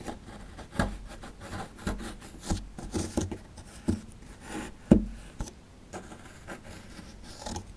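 A chisel tool scrapes the surface of a small solid plaster fossil dig block around the relief. Dull, gritty scraping and rubbing strokes come in short bursts with sharper scratches, mostly low in tone and with no ring.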